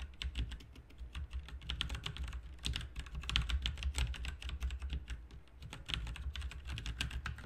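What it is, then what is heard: Plastic mechanical keyboard. Both hands type steadily with their fingertips on a backlit RGB mechanical keyboard with plastic keycaps. The result is a dense run of quick, bright clicks and clacks over a low steady hum.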